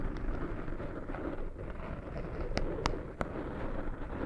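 Fingertips with short nails scratch and rub the side of a small black foam windscreen over a microphone. The result is a steady, muffled, low-heavy rustling, with a few sharp, bright ticks near the end.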